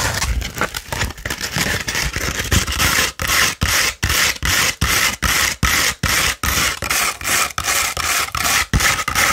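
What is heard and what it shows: Long pointed red acrylic nails scratch up and down a thin, hollow tube of beige 100-grit sandpaper held upright. At first the scratching is fast and continuous; it then settles into distinct up-and-down strokes at roughly two and a half per second, each a bright, gritty rasp separated by brief gaps.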